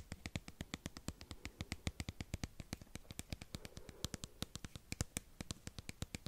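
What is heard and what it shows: Fingernails tap and scratch the surface of a small white plastic cosmetic squeeze tube with an orange cap, held in one hand close to the mic. About fifty quick, dry taps follow one another in a steady rapid stream, each with a dull low thump and a bright, clicky tick that dies away almost instantly. Soft scratching rustle fills the gaps between them.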